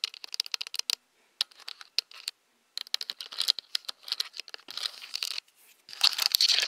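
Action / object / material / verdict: tap / plastic camera body / plastic / none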